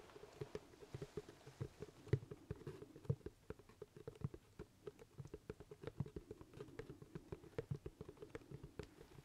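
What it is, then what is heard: Leather top hat tapped and scratched. Fingertips tap and scratch on a hollow, empty black leather top hat held in the hands. Quiet, dull, low thumps follow one another in quick, uneven succession, each dying away almost at once, with soft scratchy rustling between them.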